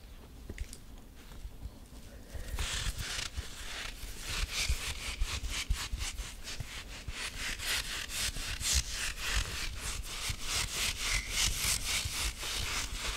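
Fingertips and nails scratch and rub the body of a grey rubber squishy possum toy in a squashed shape while it is squeezed in the hands. After a quiet start, a fast, uneven run of bright, gritty scratching strokes begins around two and a half seconds in and continues to the end over a low, muffled rumble of handling.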